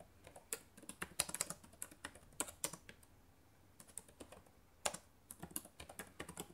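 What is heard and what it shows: Fingertips with long painted nails type on the plastic keys of a black laptop keyboard. Quick, bright clicks and taps come in uneven bursts, with a short quiet pause in the middle before the typing picks up again.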